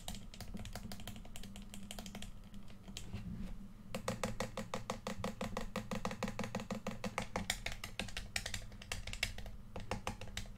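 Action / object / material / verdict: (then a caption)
tap / plastic game controller / plastic / none. Fingertips click the buttons of a hollow red plastic PS4 controller, then the fingers tap its right grip. The result is a fast, irregular run of short, dry plastic clicks and taps with bright edges, over a steady low hum.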